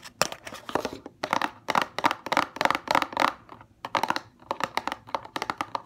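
Long fingernails tap rapidly on the side and front of a small CeraVe paperboard box with a tube inside. The taps come in quick bursts of dry, crisp clicks centred in the midrange with a bright edge, almost no low end and no ring after each hit.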